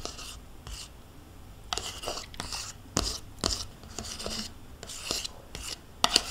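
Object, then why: Plastic yogurt cup scraped with a metal spoon. A metal spoon scrapes the inside of a small, hollow plastic yogurt cup that is held in the hand and partly full of yogurt. The result is a series of short, bright, rasping scrapes with sharp clicks and brief pauses between strokes. Each stroke ends quickly with almost no ring.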